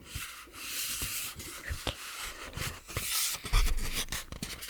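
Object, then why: Paper cosmetics box. A paper cosmetics box is tapped and scratched, giving dry, papery rubbing and scraping with short soft taps. The friction noise is mostly bright, with low thuds under each tap that fade quickly.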